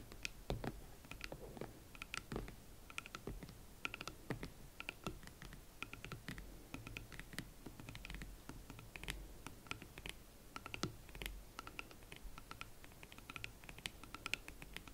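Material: Leather.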